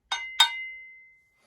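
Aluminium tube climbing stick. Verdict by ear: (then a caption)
Hollow. A hollow aluminum-tube climbing stick is tapped twice, each tap giving a bright metallic clink. A high, steady ring carries on for about a second after the taps, which is why it sounds noisy.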